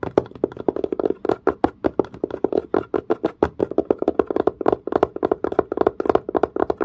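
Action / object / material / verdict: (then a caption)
tap / leather-covered case / leather / none. Fingertips and nails tap quickly on the curved surface of a dark, textured leather-covered case with a pebble-grain finish. About 43 short, dry taps fall in a fast, uneven rhythm, each one dying away almost at once. Their knocking tone sits around 400 Hz, with little deep bass or bright top.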